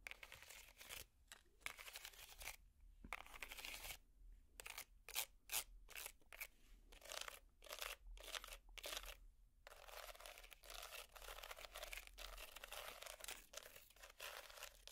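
Metal finger picks scratch a small, hollow, empty woven wicker basket held upside down. The result is quiet, bright, crackly rasping in bursts separated by brief pauses, with a steady low hum underneath.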